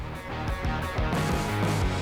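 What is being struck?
Nothing is struck.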